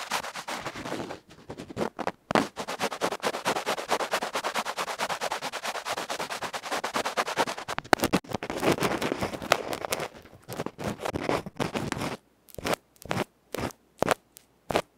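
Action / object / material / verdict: scrape / small metal microphone capsule with felt front, scraped with a bamboo ear pick / metal, felt / none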